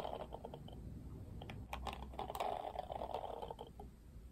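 Fingertips flick and strum the thin plastic bristles of a Barbie Wet Brush, a plastic detangling hairbrush with a plastic frame. The result is a quiet, rapid run of dry plastic clicks and ticks centered in the midrange, thickening into a dense rattling flurry toward the middle, over a faint low rumble.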